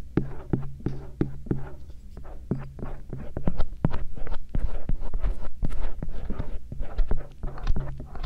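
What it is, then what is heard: Silicone ear microphone scraped with a metal pick. A stainless steel earpick scrapes along the auricle folds of the soft silicone ears on a binaural microphone. It makes irregular, rapid, muffled scratches and soft thumps with a deep, boomy low end and a steady low throb underneath.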